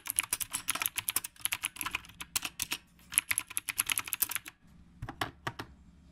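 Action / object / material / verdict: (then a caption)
tap / mechanical keyboard with round plastic keycaps / plastic / none. A retro typewriter-style mechanical keyboard with round plastic keycaps is typed on with the fingertips of both hands. The result is a fast, bright, clacky run of sharp key clicks with high pings, a brief pause near the middle, and a few sparser strokes at the end.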